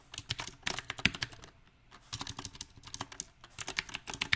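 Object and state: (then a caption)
Mechanical keyboard with plastic keycaps. Fingertips type on a backlit compact mechanical keyboard with round typewriter-style plastic keycaps on a silver metal frame. Bright, sharp key clicks come in uneven bursts with two brief pauses between them. Each keystroke dies away almost instantly, with only a light low thump under the clatter.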